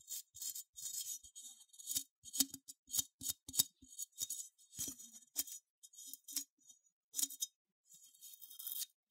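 A small cream-colored, matte, unglazed ceramic sheep figurine with a bumpy wool texture, hollow with open leg holes underneath, is held in hand and scratched with long manicured nails. The result is a string of dry, bright scratching bursts, almost all high hiss with a faint low knock at some strokes, separated by short pauses. A longer, steadier rasp closes the clip.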